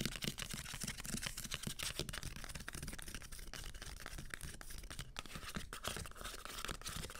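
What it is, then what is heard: Hardcover books with paper dust jackets. Long green nails scratch along the spines of a solid stack of hardcover books with paper dust jackets. The result is a dense, continuous papery scraping with a bright, rough texture and many quick strokes running together.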